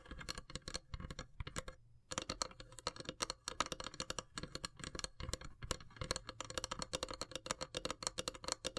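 Long silver nails rapidly tap the lid of a long, hollow, carved wooden incense box. The result is a dense stream of short, dry clicks with a light hollow knock beneath them and a bright top. A brief pause falls near the two-second mark before the tapping resumes steadily.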